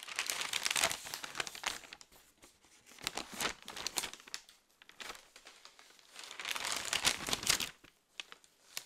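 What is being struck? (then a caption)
Folded newsprint newspaper. A thick, folded newsprint newspaper held in both hands has its pages rustled and turned. Three bursts of bright, crisp crinkling and rustling are separated by quieter stretches of soft paper handling.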